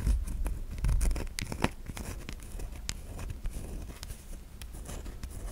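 Long nails scratch across the ridged grooves of a solid white bar of soap held in the hand. Quick, irregular dry scratches and bright ticking clicks run over a soft low rumble, louder in bursts near the start and then settling into a steady, quieter scraping.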